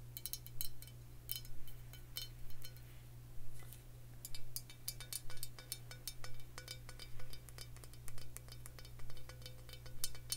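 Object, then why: Glass bottle filled with liquid. Long fingernails tap on a glass rye whiskey bottle filled with amber liquid, held up in the hand. Quick bursts of bright, short clinks repeat at a fairly steady pace over a constant low hum.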